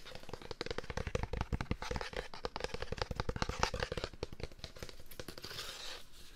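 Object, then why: Metal can. A metal can is tapped with fingers in a rapid, continuous run of short, dry taps. The taps have a deep, thumping body with a faint metallic ring. Near the end they soften into a lighter, brighter rustling.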